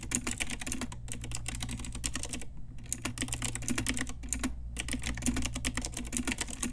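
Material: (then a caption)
Plastic. Fast typing with long nails and fingertips on an Ajazz pink retro typewriter-style mechanical keyboard with round plastic keycaps. It makes a dense stream of sharp, bright clicks with a few brief pauses, over a steady low hum.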